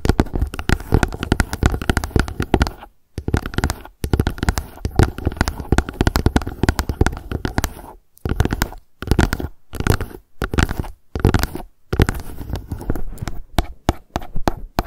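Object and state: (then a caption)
Plastic bottle tapped with fingernails. Long acrylic nails on both hands tap rapidly on a hollow, light blue plastic sunscreen gel bottle lying on its side. The result is a dense, dull, hollow clatter that is mostly low thumps with very short decay. It comes in bursts, broken by brief pauses that grow more frequent toward the end.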